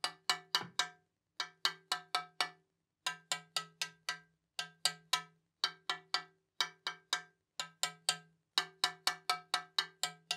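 A small metal tap-test hammer taps along a hollow carbon fibre bicycle fork blade with a dropout end, about half a metre long and held in one hand. There are 34 short, bright, high-pitched clicks in quick bursts separated by brief pauses, each dying away almost instantly. The tapped section's response is judged not normal.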